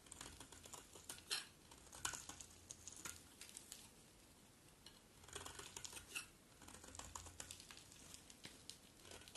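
A metal utility blade carves and scrapes a hand-sized solid bar of dry blue-and-white striped soap held in the hand, breaking it into brittle flakes. The result is a steady run of crisp, bright crackling scrapes and sharp ticks, with a few louder snaps standing out and a quieter stretch near the middle.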